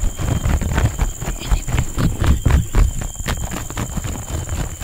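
Two people's fingertips and nails tap and scratch the ribbed surface of a large, fresh, green pleated palm leaf on a living plant, thin and flexible rather than hollow, right next to the microphone. The result is a dense, irregular stream of soft, low, muffled thumps mixed with short dry scratchy rustles, with a faint steady high tone underneath throughout.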